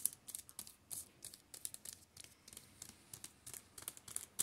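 Fingertips scratch and tap across the plastic-covered spines of a row of shrink-wrapped paperback manga volumes lying on a table. About 25 quiet, crisp, bright clicks and scratchy rasps follow one another in quick succession. Each sound is dry and stops at once with no ring.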